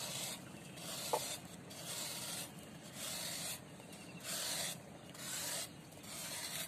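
A metal knife blade shaves the edge of a large, solid, round disc of pressed dry sand held over a basin of sand and water, and loose sand pours down onto a wet pile. It sounds like soft, bright, dusty scraping hiss in repeated uneven strokes, with quieter gaps and a brief faint click early on.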